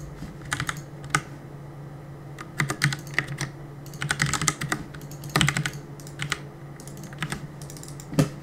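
Fingertips press and tap the plastic keycaps of a black plastic CM Storm mechanical keyboard on a desk while gaming. The result is irregular bursts of sharp, bright clacks, some rapid and clustered, others single, over a steady low hum around 140 Hz.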